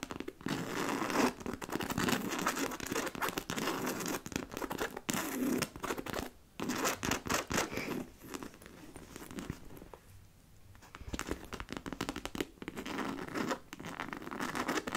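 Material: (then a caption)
Coated canvas. Long nails scratch the side and front panels of a hollow black monogram coated-canvas handbag with leather straps and metal buckles. The result is dense, rapid, dry rasping and scraping with a bright edge, coming in bursts with brief gaps. A softer, quieter stretch falls near the middle before the scratching picks up again.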